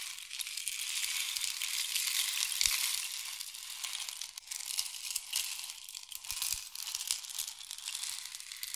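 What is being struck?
Wooden rain stick with loose pellets inside.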